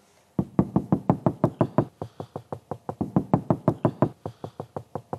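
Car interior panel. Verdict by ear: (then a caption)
Less solid. A hand knocks rapidly and steadily, 28 times, on an interior panel of an Alfa Romeo 4C that has not been soundproofed. Each knock is a short, hollow, low-pitched thud that dies away almost at once. Compared with a soundproofed panel, it sounds less solid.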